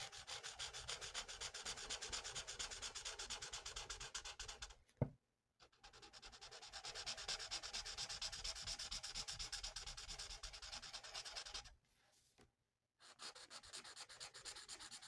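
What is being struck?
Paper sheet rubbed by a felt-tip marker.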